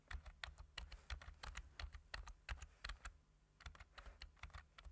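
Hands wearing rings type with their fingertips on a plastic computer keyboard with black plastic keys, tapping the keys in quick, uneven bursts. Each keystroke is a short, dry click with a soft low thump and a bright edge. The typing pauses briefly just after the three-second mark, then resumes at the same pace.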